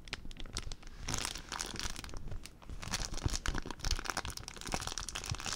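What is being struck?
Empty plastic zip-lock bag.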